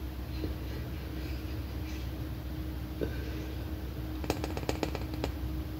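Long painted nails tap and scratch a large, hollow, red plastic M&M-shaped candy container held up close. A few isolated light taps give way to a quick cluster of sharp, short clicks near the end, over a steady low hum.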